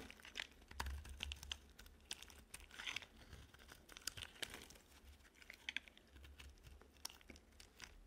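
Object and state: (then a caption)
Dry bar soap being scraped. A solid, peach-coloured stamped bar of dry soap is held in the hand while a metal blade scrapes and shaves pieces off its edge. Quick, bright, crisp scraping and crumbly crunching sounds come in rapid bursts with no ringing, over a low rumble.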